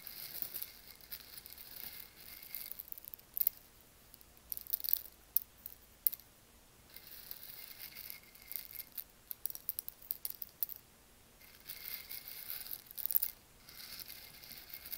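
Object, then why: Roasted coffee beans in a stone mortar. Fingertips rake and stir through a handful of loose, dry, whole roasted coffee beans in a porous volcanic stone mortar (molcajete), so the beans rattle against each other and the stone. The sound is a soft, bright, high-pitched rattle and crackle that comes in stirring bursts with quieter pauses between them. Sharper clicks stand out now and then, with almost no low end.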